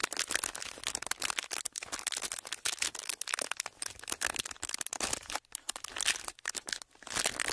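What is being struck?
Thin plastic film.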